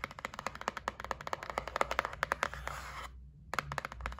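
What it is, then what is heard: Cardboard box tapped with nails. Long nails tap quickly on the top and edge of a white cardboard gift box lying on a table, making a rapid run of short, dry, clicky taps around 550 Hz with bright edges. The tapping stops briefly just after three seconds, then resumes over a faint low hum.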